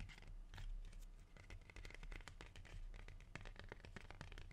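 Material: Leaf.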